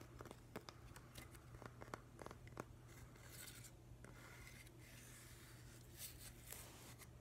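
Fingernails tap and scratch along the rough grain of a long, narrow, grey, solid piece of weathered driftwood held upright. Quick dry ticks come first, then longer rasping scratches with a bright hiss, all over a steady low hum at a quiet level.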